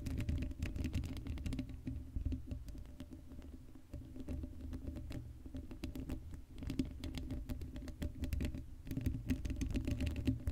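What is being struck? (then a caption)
Metal mesh microphone grille. Long acrylic nails rapidly scratch and tap the hollow black metal mesh grille of an uncovered Blue Yeti microphone. The result is a dense, dry patter of quick clicks and scrapes, heavy in the low end with a faint steady tone beneath. The activity eases into softer rubbing midway before the rapid tapping builds again.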